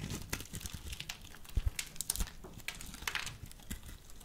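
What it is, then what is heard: Bar of soap being scraped and cut. A utility knife blade scrapes and cuts a solid, hand-sized, pre-scored bar of pale pink soap held in the hand, breaking off small cubes that fall away. A rapid, uneven run of dry, crinkly scraping and crisp little crunches is heard, with a few sharper snaps standing out and bright crackly detail over a soft low thump.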